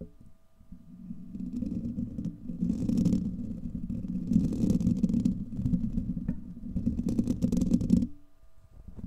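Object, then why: Steel wire-mesh microphone grille. Fingernails of both hands scratch a hollow, domed steel wire-mesh microphone grille, producing a dense, low rumbling scrape that swells in bursts with brighter hissy edges. The scratching runs steadily for about eight seconds, then stops abruptly, leaving only faint low noise.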